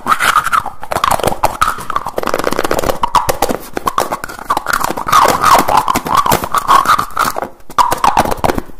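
A small dark blue plastic jar with a teal screw lid is handled fast by fingertips that open, close and tap the lid. The result is a dense, continuous run of quick clicks, scrapes and gritty twisting sounds with a ringing tone around 1 kHz. A few brief pauses break up the sound.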